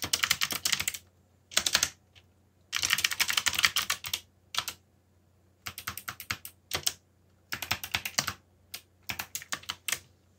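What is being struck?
Mechanical computer keyboard with plastic keycaps.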